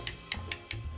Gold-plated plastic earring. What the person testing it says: When you tap it, it sounds, it's almost like it's plastic underneath.